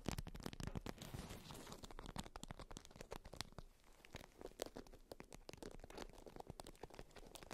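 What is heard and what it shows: A polka-dot beeswax-coated fabric wrap, tightly rolled around a cylindrical bundle resting on fur, is tapped and scratched with long white nails. The result is a quiet, dense stream of short, dry taps and crinkly scratches with almost no ring, carrying more low thud than bright crackle.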